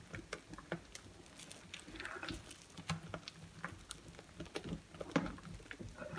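A glass bowl of creamy, mushy wet soap paste is squished as fingertips and a hand sweep and rub it in circles around the bowl. The result is a quiet, irregular stream of soft, wet squelches and patters with many short, sharp clicks and smacks.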